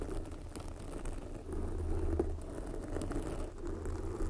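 Long glossy nails scratch and rub directly across a large, soft, porous red foam microphone windscreen. The result is a close, muffled, continuous crackling rustle with a heavy low rumble and almost no high end, swelling slightly in the middle and near the end.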